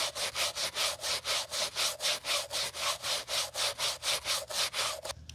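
A gloved hand scrubs the lower side and sole edge of a Gucci Ace white leather sneaker with a wooden-handled bristle brush during restoration. Rapid back-and-forth strokes, about two per second, make a bright, hissy rasping with a faint tonal edge, ending in a brief quiet pause.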